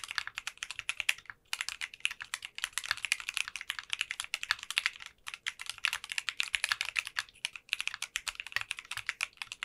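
A 60% custom mechanical keyboard with clear, translucent pink polycarbonate keycaps is typed on continuously with the fingertips of both hands. It produces a rapid stream of crisp, bright clacks with almost no low end and very short decay. The stream breaks only for brief pauses around 1.5, 5.2 and 7.6 seconds.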